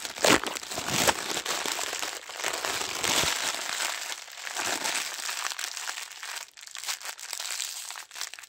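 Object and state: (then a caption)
Thin plastic film bag being crumpled. A thin, empty, transparent plastic wrapping bag is crushed and crinkled into a ball between both hands in white knit gloves. It makes a dense, bright, irregular crackling with louder bursts early on and little low end, then settles into softer, scattered crinkles.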